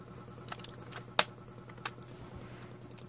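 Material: Plastic.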